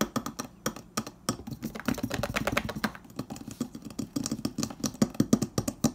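Fingertips and nails of both hands tap and scratch the edge and panel of a hollow, insulated stainless steel refrigerator door. Fast, dry clicks come in a dense stream, with short scratching passages between them. Each tap is a muted, low-midrange knock around 230 Hz that dies away almost instantly.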